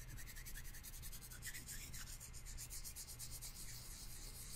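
A pair of thin, solid wooden chopsticks is held crossed close to the microphone while fingertips rub and scrape one along the other. The result is a steady run of quick, rhythmic, dry scratchy strokes with a bright hiss, over a low, soft rumble.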